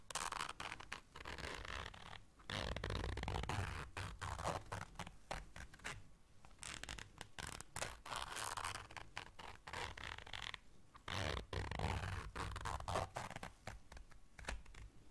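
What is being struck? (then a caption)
Small fabric zipper case. A small round black fabric zipper case is held in the hands while long dark nails zip it and scrape across the fabric. Quick, rapid rasping zips and scratchy scrapes come in dense bursts with a low, rumbling undertone, broken by brief quiet gaps.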